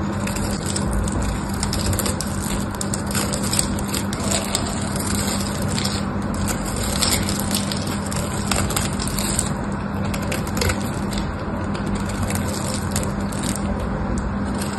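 A small craft knife blade scrapes and carves a solid pink patterned bar of dry soap, sending crunchy flakes falling. The result is a steady, dense crackling crunch with bright edges over a faint constant low hum, holding an even level throughout.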